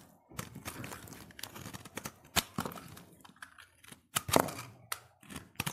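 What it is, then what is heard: Soap bar being scraped with a blade. A utility knife blade scrapes across a solid cream-white soap bar held in the hand. Crisp, dry shaving and crackling sounds come in uneven bursts, with a few sharper cracks standing out, and the brittle scraping texture reaches into the high range.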